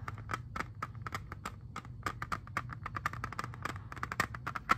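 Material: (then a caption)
Plastic. Fingernails tap and scratch a hand-sized, hollow, clear plastic jewel case holding an Xbox 360 disc. The result is a quick, irregular run of short, dry plastic clicks with a hollow, mid-pitched tick around 1.3 kHz. A steady low hum sits underneath.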